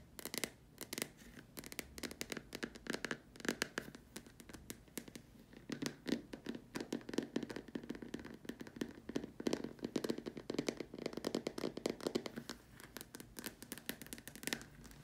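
Long nails tap and scratch the curved sides of a large, empty, white hollow plastic dome lamp shade. The result is a dense run of quick, dry clicks and scratchy scrapes with a hollow mid-range body and bright edges. Each tap dies away almost at once.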